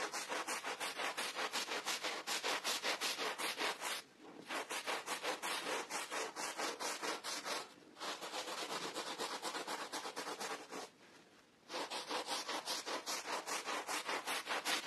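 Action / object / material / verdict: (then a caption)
scrape / pile carpet scrubbed with a plastic bristle brush / carpet pile / none. A gloved hand scrubs a wet, soapy red pile rug with a bear pattern back and forth using a green plastic bristle brush. The result is a fast, rhythmic run of bright, hissy bristle strokes, broken by short pauses near 4, 8 and 11 seconds.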